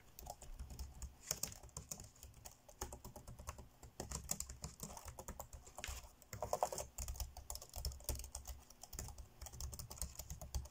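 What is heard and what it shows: Fingertips tap fast on the dark grey plastic chiclet keys of an ASUS laptop keyboard, typing in quick bursts. Each keystroke is a short, dry click with a low thump and a bright tick that dies away almost instantly. The taps run in dense clusters with brief pauses between them.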